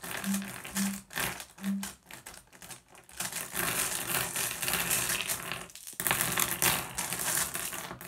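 A hand presses on, grabs and sweeps small solid blue glass gems across a wooden table. The gems clack and rattle together in dense, bright clicks, with a brief lull just before the 6-second mark before the clatter picks up louder again.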